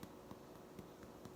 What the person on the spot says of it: turning it over and tapping it I hear that but it's like a hollow sound